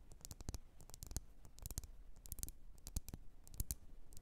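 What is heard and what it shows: Long nails tap the rim and sides of a lit, wax-filled red glass candle jar. Quick, irregular taps sound as sharp, bright clicks with a low thud underneath, each dying away almost instantly.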